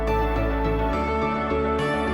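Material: Nothing is struck.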